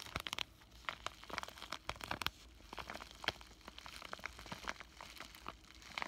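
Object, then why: Plastic bubble-wrap zip pouch. A flat pink bubble-wrap plastic zipper pouch with a paper insert is held in both hands and crinkled and squeezed with fingertips and short nails. It makes a quiet, steady stream of bright, dry crinkles and sharp little crackles, with very short snaps and almost no low end.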